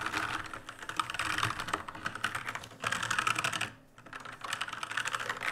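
Fingertips type and press keys on an RGB-lit black mechanical keyboard with plastic keycaps. Rapid, bright plastic clicks and clacks run in dense bursts, with a brief pause just before the 4-second mark before typing resumes.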